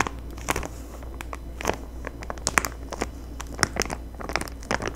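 Long fingernails crinkle, tap and rub a clear plastic bag sealing a sheet of Halloween gel window clings with a paper header card, held up in both hands. Dense, bright plastic crackles and sharp clicking taps come in quick, irregular bursts over a steady low hum.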